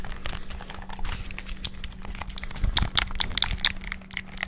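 Fingertips rapidly tap the buttons of a white and black hollow plastic PS5-style gamepad, producing a dense, fast stream of short, bright plastic clicks and crinkly taps. The clicks grow louder and sharper in the middle of the clip, over a faint steady low hum.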